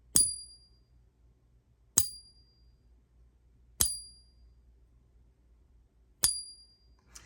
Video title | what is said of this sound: Three fake coins - A matchup of counterfeits | It kind of stops real abruptly.